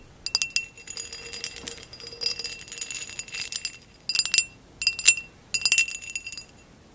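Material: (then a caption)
Glass. Long acrylic nails tap and scratch a tall, empty, hollow amber glass vase with a basket-weave texture, which is turned on its side by the end. Bright, short glassy clinks and ringing ticks come in quick clusters over a faint scratching rustle. Near the end they break into three separate louder bursts with quiet gaps between them.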